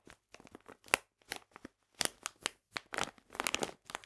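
A full, printed plastic package of polenta is squeezed and crinkled in the hands. It makes a quick series of sharp, bright crinkling and crackling bursts with brief pauses between them. The sound is mostly high and crisp, with almost no low end and no lingering ring.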